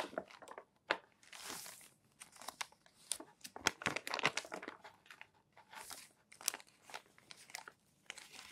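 Fingertips turn and flatten the crinkled pages of a crumpled, thinner-paper magazine stack resting on a desk. Quiet, bright crinkling and crunching crackles come in short, sharp bursts, mixed with brief papery swishes and short silent gaps.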